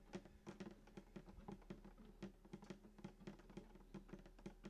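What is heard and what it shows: Both hands tap rapidly with fingertips and short nails on the wooden top below the bridge of a hollow sunburst acoustic guitar lying flat. Quick, dull knocks sound in an uneven rhythm, each carrying a low hollow body resonance near 190 Hz that dies away almost at once.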